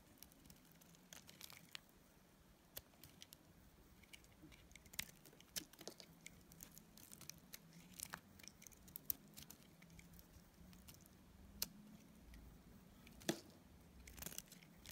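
A solid bar of dried pink soap held in the hand is shaved with a metal utility blade. Quiet, irregular, crisp scraping and cutting ticks sound over about fifteen seconds, each bright and dry with no ring. A faint low hum runs steadily underneath.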